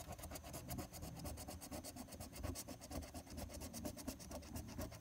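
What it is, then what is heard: Paper scratch-off ticket being scraped. A silver coin scrapes the latex coating off the Game 2 area of a flat paper lottery scratch-off ticket (#023) resting on a tabletop, using quick strokes. The result is a steady, rhythmic, raspy scratching at roughly two strokes per second, with bright papery grit over a low, rumbling base.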